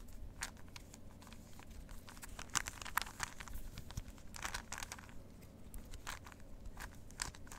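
A plastic 3x3 Rubik's cube is held in both hands while its layers are twisted with the fingers. Quick, dry plastic clicks and crinkly clacks come in an irregular run, with a few sharper snaps, over a quiet low hum.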